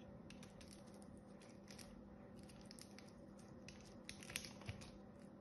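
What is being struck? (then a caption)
Bar soap scraped with a small blade. A small blade scrapes across a solid, cream-colored bar of soap with an embossed pattern, cutting off thin shavings. Quiet, dense, crisp scratching and crackling ticks run over a steady low hum, with a few sharper, louder snaps near the end.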